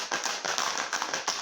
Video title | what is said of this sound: Music & Me 2021 - Classroom Session 1 | That sounds different. This one's got stones.